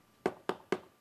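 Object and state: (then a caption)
Solid hard coat stucco wall. Three taps on a hard coat stucco exterior wall give short, solid, firm knocks centered low around 375 Hz, each dying away almost at once. The solid sound marks a hard coat stucco system rather than hollow-sounding EIFS.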